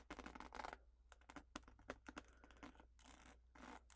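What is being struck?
Plastic paddle hairbrush.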